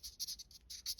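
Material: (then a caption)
Polymer. The polymer handle of a Hogue Deka folding knife is tapped and scratched in a quick series of light, dry clicks and rasps. The sound is thin and bright, with almost no low end and very short decay. The handle sounds hollow and the polymer comes across as cheap and light.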